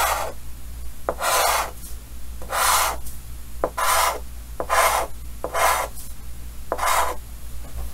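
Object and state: Chalk scraping on a chalkboard.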